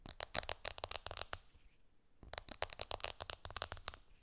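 Long, dark-painted nails tap quickly on the glass screen of an iPhone lying flat, screen up, on a cushion; the phone is a small, solid device. The sound is a run of sharp, bright clicks that stop for a brief pause midway before the rapid tapping resumes. Each click is dry and dies away almost instantly.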